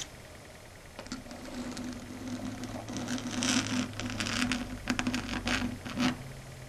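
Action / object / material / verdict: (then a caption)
tap / chalkboard surface tapped by fingernails / slate board / none. Long red acrylic nails tap rapidly on a flat dark grey chalkboard surface. After a quiet first second, quick, uneven clicks and bright scratchy bursts build up over a steady low tone near 250 Hz, peaking around the middle and near the end.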